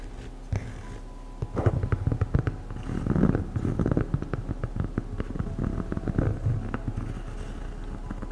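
A medium black EVA foam slide sandal with a hollow strap is tapped and scratched on the strap and sole with long acrylic nails. Many quick, dull, low tapping and scratching sounds come in bursts over a steady low hum, with almost no high end and no ring after each touch.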